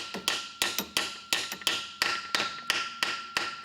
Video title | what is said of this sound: How to Build a Ford 5.4L 3V Engine - Part 11: Installing the Engine! | See how it was kind of a high-pitched and then it went to a duller kind of thud sound? That means that the dowel has been sunk successfully all the way into the block.